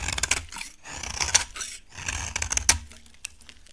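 A utility knife blade scrapes across a solid, embossed, dry orange bar of soap in several drawn-out passes. Each pass gives a bright, gritty rasp with sharp crackling clicks. The sound drops off quickly between strokes and ends with a few faint ticks.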